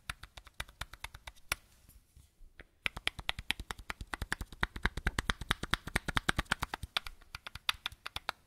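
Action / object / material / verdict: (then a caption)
tap / small plastic bottle / plastic / none. A small matte white plastic bottle held in one hand has its square cap and shoulder tapped with a fingertip and nail. About 55 short, dry, bright clicks are heard with almost no ring, in an uneven rhythm. The tapping pauses briefly around the two-second mark, then returns louder and quicker over a faint hiss.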